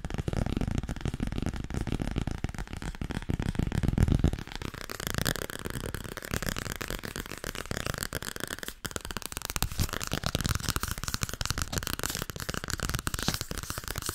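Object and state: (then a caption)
Softcover book. Fingers tap fast on the softcover book "Overdracht en tegenoverdracht." The result is a dense, continuous patter of short, dull taps with almost no ring. For the first few seconds it is heavier and low-pitched, then it turns brighter and crisper for the rest of the clip.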